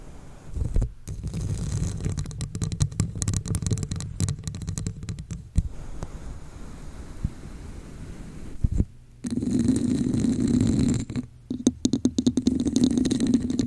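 Long nails scratch and tap a hollow red plastic cup with a raised diamond texture, held close. Dense, low, rumbling scratches come in bursts with brief pauses, followed by a steadier grinding scratch and then quick rapid taps and scratches on the top of the cup.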